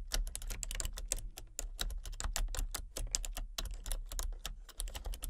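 Long-nailed fingertips tap quickly across the keys of a full-size, hollow-bodied plastic computer keyboard with color-changing backlit keys. The result is a steady stream of short, bright, clicky taps with a low hollow thump beneath each one. Each tap dies away almost instantly.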